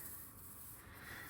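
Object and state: Nothing is struck.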